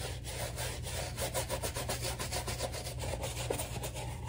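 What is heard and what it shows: A black rubber slide sandal with white stripes, held in one hand, is scrubbed with a soapy bristle shoe brush with a wooden handle, working lather over the strap and sole. A steady run of quick, rhythmic brushing strokes gives a wet, bristly scratching with a bright hiss over a low, constant rumble.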